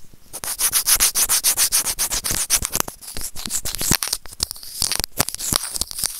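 Serrated plastic tweezers rub and scrape across a small, hollow white plastic earphone inline microphone remote. The result is a fast run of bright, gritty scratching strokes, dense and rhythmic for the first three seconds, then sparser and quieter with scattered sharp clicks.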